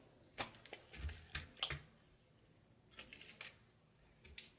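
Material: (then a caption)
Soap. A knife scrapes and slices a thinning light blue soap bar over a pile of soap shavings. Short, crisp, bright scraping and cutting sounds come in two clusters with quiet pauses between them. Each cut is dry and dies away almost at once.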